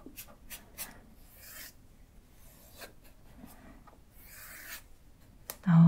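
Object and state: Cardboard box brushed.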